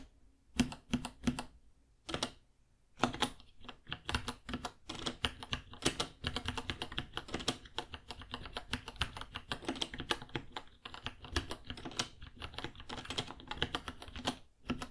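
Fingertips type continuously on a white 66-key mechanical keyboard, about 30 cm long, with plastic keycaps, Gateron Brown switches and a hollow case. Rapid, sharp clacky keystrokes with bright tops and a hollow low thump come in short bursts, with brief pauses near the start. After that they run on steadily as dense typing.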